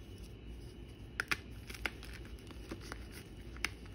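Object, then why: Gym chalk block (magnesium carbonate). White chunks of Ader gym chalk (magnesium carbonate), broken from a solid, crumbly block, are squeezed, crushed and rubbed between fingertips with long painted nails over a metal tub filled with baby powder. A soft, steady gritty crumbling runs throughout, broken by several sharp, bright cracks and snaps that stop dead with no ring.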